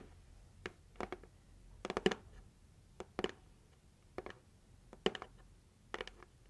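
Long acrylic nails tap and scratch the lid of a red printed cardboard heart-shaped gift box held at chest height. The sound is quiet, dry, short clusters of clicks and scrapes, spread into bright highs, arriving at an irregular pace with near-silent gaps between them.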